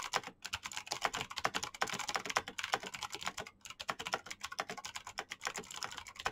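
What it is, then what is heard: Plastic mechanical keyboard. Fingertips type very fast on a black plastic mechanical keyboard with clicky switches. A dense, steady stream of sharp, bright clicks follows, each dying away almost instantly with almost no low end.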